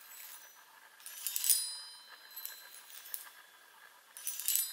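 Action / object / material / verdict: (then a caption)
tap / hollow metal tube chime on a wooden frame / metal / none. A handheld chime about 25 cm long, with a row of hollow silver metal tubes mounted on a light wooden frame, is held in one hand while long pointed nails on the other hand tap and strike the tubes; a large ring on a finger may sometimes touch the tubes. Clusters of quiet, bright, high ringing taps come in bursts, each fading quickly with almost no low end.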